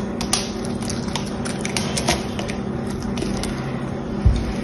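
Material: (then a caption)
Soap. A small knife scrapes and cuts into a hand-held green solid soap bar with a silver-painted face, and brittle flakes break off onto a pile of shavings. The result is a steady, dense crackling scrape with sharp, bright ticks and a low, steady rumble underneath, with louder crunches near the start, middle and end.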